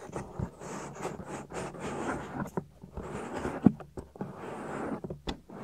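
Fingertips and nails rub across the soft, solid silicone ear of a 3Dio binaural microphone. Close, muffled scratching and friction swell and fade in bursts, punctuated by a few sharper knocks and brief quiet gaps.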